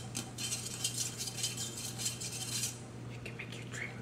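A large lilac insulated tumbler of powder-coated stainless steel, hollow and fitted with a handle and lid, is held in the hands and tapped with fingertips and nails. The result is a quick run of bright, clicky taps with a short metallic ring over a steady low hum. The lid is then handled, giving a few softer rattling clicks at the end.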